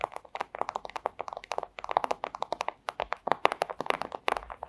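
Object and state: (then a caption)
Thin plastic sleeve tapped with nails. A flat, thin, clear plastic pouch is tapped and scratched with long acrylic nails, producing a rapid, uneven run of short, crisp clicks and crinkly scratches. The sound is centered in the midrange around 800 Hz with bright edges. Each tap dies away almost instantly, and there is no low rumble.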